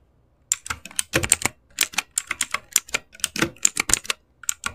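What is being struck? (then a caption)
Plastic mechanical keyboard keys. Both hands type fast with their fingertips on an RGB-backlit mechanical keyboard with plastic keycaps. After a brief silence, dense runs of bright, short plastic key clicks follow one another with almost no ring and very little low end.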